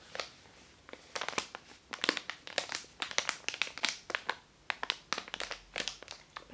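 A makeup brush sealed in a long white printed plastic sleeve is held up while the packaging is squeezed and rubbed with the fingers. It gives a quick run of dense, bright crinkles and crackles in irregular bursts with short quiet gaps, with almost no low end.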